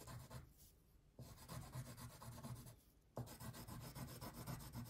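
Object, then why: Wax crayon on a paper coloring sheet. A light blue wax crayon is rubbed in broad strokes across a thin paper coloring page lying flat on a table, filling in the background. Rapid, rasping scratches come in quick rhythmic bursts, with two brief pauses. The waxy drag sounds low and full, with a soft grainy hiss on top.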